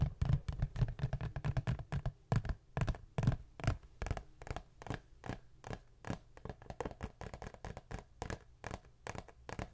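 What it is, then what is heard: Cardboard tissue box. Long nails scratch and tap the sides of a cube-shaped Great Value Ultra Soft cardboard tissue box. A loose, uneven stream of quick, dry scratches and hollow taps rolls along, with a low papery thump under each stroke and almost no ring. The strokes grow gradually softer toward the end.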